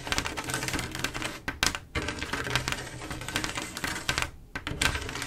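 Long acrylic nails tap rapidly across a large, solid, flat panel of silver mirror-like glass mosaic tiles. The result is a dense stream of crisp, bright clicks with very short ring, plus a little low rumble underneath and brief pauses between bursts.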